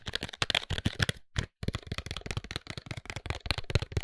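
A closed, tall white paperboard serum box is tapped and scratched along its faces with fingertips and nails. The result is a rapid, dense run of dry, papery taps and scrapes with a low thump and bright scratchy edges, broken by a brief pause near the middle.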